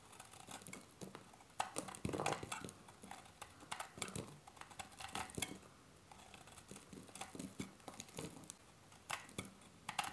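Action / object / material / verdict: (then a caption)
scrape / bar of soap cut with a metal blade / soap / none. A solid, cream-colored dry bar of soap, held in a tattooed hand, is cut and scraped again and again with a metal utility blade. The result is a quiet run of small, crisp, dry ticking cuts with bright, brief scraping textures and very little ring.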